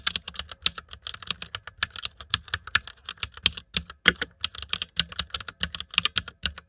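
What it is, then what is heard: Mechanical keyboard with plastic keycaps. Fingertips type continuously on a white mechanical keyboard with plastic keycaps, producing a steady, uneven run of short, crisp clicks. The taps are bright and clacky with very little low end, and each one dies away almost instantly.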